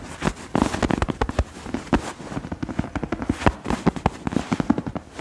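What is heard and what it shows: A large, soft, stuffed tan throw pillow with a suede-like fabric cover is held against the chest and quickly scratched and tapped with the fingertips and nails of both hands. The result is a fast, irregular stream of dull, muffled thumps mixed with crackly, brushing scratches, mostly low and soft with little bright edge.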